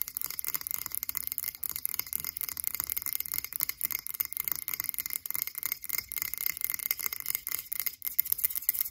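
Long acrylic nails on both hands rapidly tap and scratch a frosted blue glass cylindrical candle jar with a label on its base. The result is a dense, continuous stream of crisp, dry clicks and rasping scratches, bright and thin with almost no low end, each tap dying away instantly.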